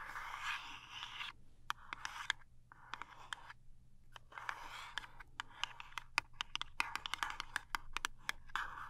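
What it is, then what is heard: Cardboard box tapped and scratched. Long nails tap and scratch the end and face of a small cardboard toothpaste box. Bursts of dry, bright scratching between roughly 1 and 3 kHz alternate with brief quiet gaps, and sharp, crisp taps punctuate the whole clip with almost no ring.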